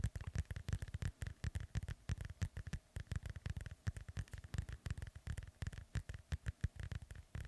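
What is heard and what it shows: A black foam microphone windscreen is rubbed with the fingertips of both hands, producing a rapid, uneven series of soft, muffled thumps and scuffs. The sound is deep and boomy with faint high crackle on each stroke, and the strokes come in quick clusters throughout.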